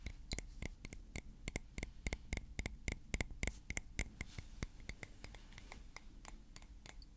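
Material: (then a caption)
Glass. A small, thick blue glass perfume bottle with a metal cap is held in the hand and tapped and scratched with fingernails. Quick, irregular clicks and taps come with a bright glassy tick around 2 kHz and soft scratching between them. Each tap dies away almost at once, and the whole clip stays quiet.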